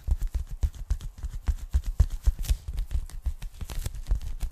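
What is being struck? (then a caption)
Polyethylene foam packing bag. Long nails tap quickly on the surface of a thin, flat, empty pink polyethylene foam packing bag. The result is a rapid, uneven run of short, dull, low thuds, each with a faint bright click on top and almost no ring.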